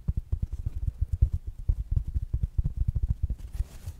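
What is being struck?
Small fabric-covered smart speaker.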